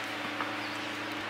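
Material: Nothing is struck.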